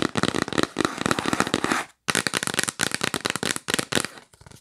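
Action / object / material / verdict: tap / cardboard box lid / cardboard / none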